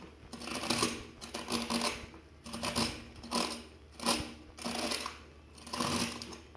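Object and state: Plastic paddle hairbrush bristles being scraped.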